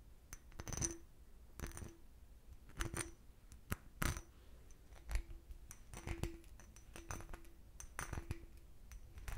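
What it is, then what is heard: Cut crystal glass decanter. An empty clear cut-crystal glass decanter with a starburst base has its base tapped and scratched with nails. The result is a series of light, irregular clinks and short scrapes with bright glassy edges and a brief ring. They sit over a quiet low background.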